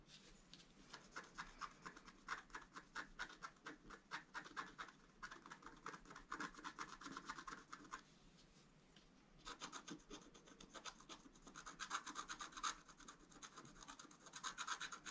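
A wooden stylus rubs and scratches flowers into a flat, black-coated scratch art paper card. Quick, dry, rasping strokes carry a bright hiss centered around 1.4 kHz, with little low end. They stop briefly from about 8 to 9.5 seconds, then resume and grow slightly louder toward the end.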